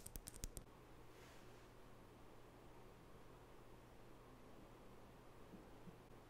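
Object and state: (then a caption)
Wooden nail brush tapped with fingernails. Long natural fingernails tap the wooden back of a small wooden nail brush with natural bristles and scratch across its bristles. Six quick, sharp clicks come first, followed by a faint, airy swish and then a steady low hum for the rest of the clip.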